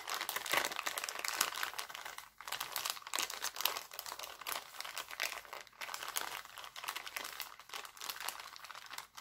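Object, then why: Thin clear cellophane bag. Fingers crinkle and fold an empty, thin, clear heart-printed cellophane bag, making a continuous bright, crackling rustle with no low end. The sharp crinkles come in dense, uneven bursts, with a few brief quiet gaps between handlings.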